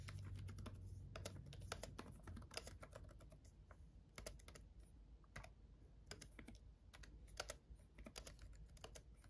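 Fast fingertip typing with both hands on a black laptop keyboard with red backlit plastic keys. Quick, irregular, short bright clicks and taps run throughout over a steady low background rumble.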